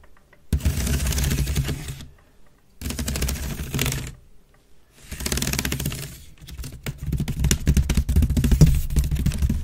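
Long red nails scratch rapidly across the weave of a grey woven wicker waste bin lying on its side, hollow and empty. Three bursts of dense, rustling scratching with a deep, hollow low-end body are separated by short silences, followed by a longer, more uneven run of scratches and crisp clicks.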